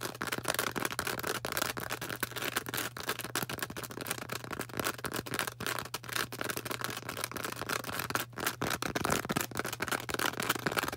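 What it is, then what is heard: Foam sponge, tapped and scratched. Long orange acrylic nails tap and scratch a hand-sized, star-shaped green porous foam sponge. Dense, rapid, dry crackling scrapes and soft clicks come without pause across the full 11 seconds, bright and airy on top with a faint steady low hum underneath.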